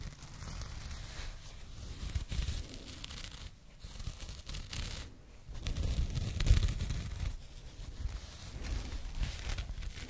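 Long painted nails scratch a small, flat, soft and hollow burlap/jute drawstring pouch held close to the microphones. Its contents are not visible. Dry, coarse scratching and rustling come in uneven waves over a heavy low rumble, with brief quieter gaps before the scratching swells again.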